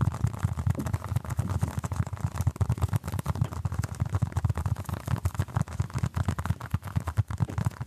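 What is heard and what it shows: A small orange basketball-patterned stress ball, apparently solid soft foam, is held in both hands close to the microphone and scratched and tapped with the fingertips and short nails. The result is a steady stream of rapid, soft, muffled thumps and rubbing, almost entirely low and dull with no bright edge, and each tap dies away at once.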